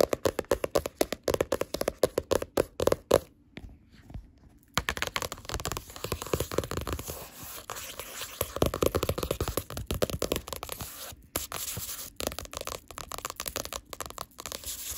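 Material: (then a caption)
Card. Green claw nails and long black nails tap and scratch the glossy card cover of a paperback novel lying on a fabric couch. The clip opens with quick, dry tapping that has a hollow, papery tone, pauses briefly, then turns into dense, continuous scratching and light tapping across the cover.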